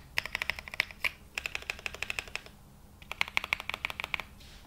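A black Glacier 80 mechanical keyboard with London Fog switches and ABS plastic keycaps, resting on a felt mat, is typed on as fingertips press individual keys and the spacebar. Quick, bright, crisp clacks come in two bursts separated by a brief pause, each keystroke dying away almost instantly with very little low end.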